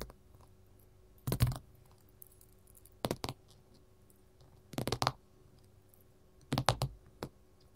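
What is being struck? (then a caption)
Mat tapped with metal finger rings. A gold mat is tapped with metal finger-jewelry rings, producing short, dry clicking taps in small clusters spread across the clip. About ten hits sound with quiet pauses between them over a faint steady hum.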